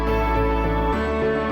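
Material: Nothing is struck.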